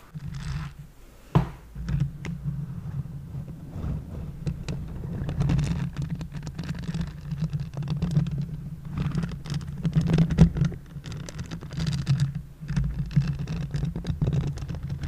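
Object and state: Silicone basting brush.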